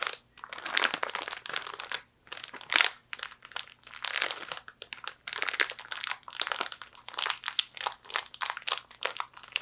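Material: Plastic.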